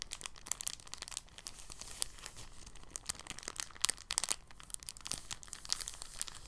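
A thin, clear, empty polyethylene bag is folded and then crinkled in both hands with the fingertips. Soft, dense, crackly rustling is heard, mostly bright and high with little low end. Sharper crinkles stand out around the four-second mark, and each snap dies away instantly.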